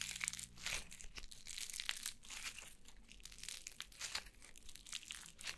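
A fist-sized yellow crunchy foam slime is held in both hands and squeezed and poked with long nails. It gives off dense, bright crackling and crinkly crunching in quick bursts that rise and fall, with a faint low hum underneath.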